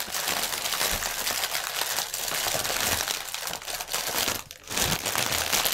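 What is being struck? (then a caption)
Polyethylene air cushion packaging. Fingertips and nails scratch the film of a strip of inflated, hollow, air-filled clear polyethylene air cushions lying on a table. The result is a dense, continuous, bright crinkling and scratching with little low end, briefly dropping away for a moment near the end before resuming.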